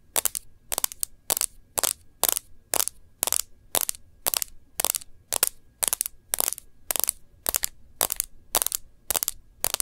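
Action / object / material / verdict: tap / smartphone with glass screen in a plastic case / glass, plastic / none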